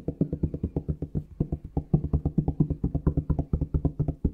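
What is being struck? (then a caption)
Plastic shower gel bottle. A plastic Palmolive shower gel bottle is tapped with the fingertips in a quick, uneven run of about 35 taps. Each tap is a dull, hollow knock with a low tone around 150 Hz that dies away almost instantly.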